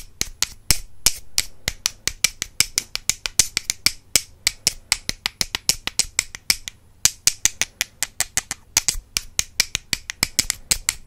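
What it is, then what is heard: Wooden brush handles tapped together. Two solid wooden makeup brush handles, held crossed in one hand, are tapped against each other in a quick, uneven rhythm. Dozens of sharp, dry clicks sound bright and crisp, each dying away almost instantly, with short pauses between bursts.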